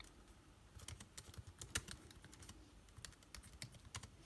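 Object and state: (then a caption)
Laptop keyboard, plastic keys. Fingertips type on a laptop keyboard with plastic keycaps set in an aluminium body. An irregular run of quiet, short, dry clicks and taps follows, each with a bright click and a soft low thump. The clicks die away almost at once with no ring.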